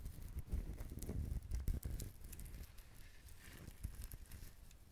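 Fingertips tap and scratch the fibrous husk of a whole, dried, brown husked coconut, producing hollow, clip-clop-like taps. The taps are low and dull, mixed with dry, crinkly scratching and rustling over the husk fibers.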